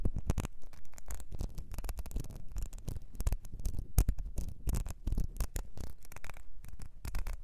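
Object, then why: Ribbed glass perfume bottle. Long nails scratch the ridges and base of a small, ribbed, clear glass perfume bottle with a gold nozzle, partly filled with liquid. The result is a dense, rapid patter of short, dry scratching bursts that sound muffled and weighted toward the low end. A few sharper, louder strokes stand out along the way.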